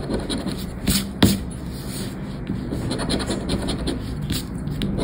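A thin, flat paper lottery scratchcard, 'Aranha da Sorte', with a latex scratch-off coating lies on black cloth, held down by fingertips. It is scratched repeatedly with a round black scraper, rubbing off the silver coating with a steady, low, dry scraping texture and a few sharper strokes.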